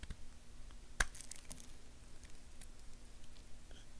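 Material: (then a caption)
Soap. A purple knife blade carves and scrapes a small solid tan bar of soap held in the hand, leaving shavings. One sharp, crisp crunch stands out near the start, followed by soft, quiet scraping and faint crackling.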